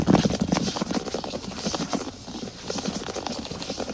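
Fingertips tap quickly and fingernails scratch across a large solid wood plank floor. The result is a dense run of soft, dry knocks mixed with a rough scraping texture.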